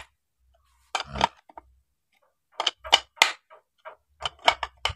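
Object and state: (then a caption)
Tight-fitting bearing in crankcase housing. A steel bearing is tapped into the metal crankcase housing of a chainsaw body, giving nine short, sharp, bright metallic taps in irregular bursts with almost no ring. The sound shows the bearing fits precisely and tightly, so the housing is not loose.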